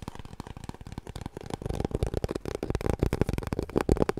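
Long nails scratch rapidly along the surface of an empty, hollow cardboard kitchen roll tube held horizontally. It makes a dense run of dull, papery scrapes and taps with a low, hollow body and very little brightness, each stroke dying away almost at once. The strokes grow louder and busier toward the end.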